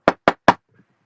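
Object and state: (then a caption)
Desk knocked on. Three knocks on a desk, each a short, solid thud with a quick decay and a pitch around 940 Hz. A faint, brief sound follows near the end. The knocks show the desk is solid and physically there.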